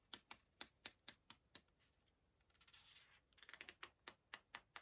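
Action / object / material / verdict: scrape / paper pages of a hardcover book / paper / none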